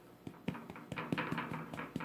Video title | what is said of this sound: Braided French Bread 101 with Pat #7 | tap it on the bottom if it sounds Hollow it's done